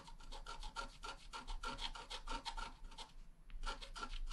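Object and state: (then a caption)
Wax-coated scratch art card being scratched. A wooden stylus scratches rapid grass strokes into the lower right of a flat black wax-coated scratch art card. The result is a quick run of dry, raspy scratching strokes with a bright, gritty edge, a brief pause near the end, and then a few more strokes.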